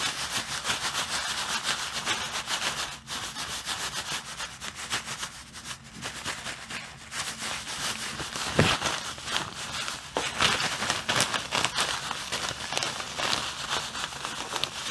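A clear plastic bag full of white artificial snow is held in the hand against a dark wall and squeezed and rubbed by the fingers. It makes a steady, bright crinkling and rustling, with a few sharper crackles standing out near the middle and end.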